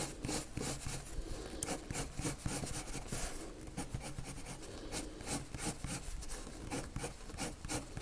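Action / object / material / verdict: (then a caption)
scrape / colored pencil on drawing paper / paper / none. A lavender colored pencil rubs circular shading strokes onto a white paper sheet. Soft, scratchy rubbing comes in a steady stream of quick strokes, each a brief bright hiss over a low, muffled rumble.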